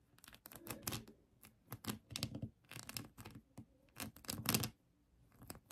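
Long acrylic nails scratch the colored acrylic rhinestones on a rhinestone-covered plastic heart, up close. Quick, dry, crackly scratching comes in irregular bursts with short pauses between them, bright and clicky on top with a low rasp underneath.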